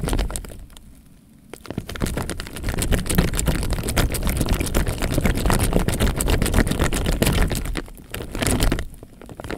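A clear plastic bag, half full of water and held up by the top, is shaken and squeezed by hand so the water sloshes inside. Dense, rapid low sloshing and crinkling fill most of the clip, with quieter pauses near the start and end.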